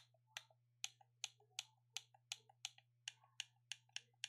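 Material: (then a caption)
Plastic. A black plastic gamepad is held in both hands while the thumbs repeatedly press its buttons. Twelve sharp, bright plastic clicks are heard at a steady pace, most followed by a softer secondary click, over a faint steady low hum.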